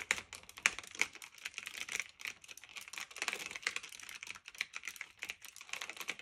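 Both hands type continuously with their fingertips on a black retro typewriter-style mechanical keyboard of plastic and metal, with round keycaps, resting on a fluffy blanket. A rapid, steady stream of crisp, bright clicks and clacks is heard, each dying away almost instantly, with no low thump and a recurring tone around 2.4 kHz.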